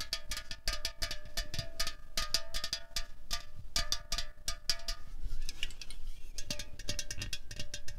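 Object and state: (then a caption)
Aluminium drink can. A slim, hollow 0.33 L Coca-Cola Cherry aluminium can on a tablecloth is tapped and scratched with long fingernails. Quick, bright metallic clicks come in irregular bursts over a steady tonal ring near 650 Hz and 1.5 kHz. A softer, hissy scratching stretch sits in the middle before the tapping resumes.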